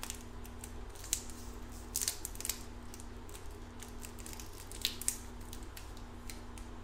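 The clear plastic wrapper on a small red lollipop with a white stick is crumpled and crinkled between the fingers as it is held up and then lowered. Quiet, bright crackling runs throughout, with a few sharper snaps standing out over a steady low hum.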